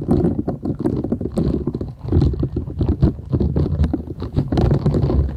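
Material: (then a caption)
Silicone. Long nails scratch and rub a thin, solid, flat purple silicone scrubber sponge with short bristles, held folded in both hands. The result is a dense, muffled stream of quick scratchy strokes and soft rubbing, weighted heavily toward low, thumpy tones with faint bright crackle, briefly easing around the two-second mark before continuing steadily.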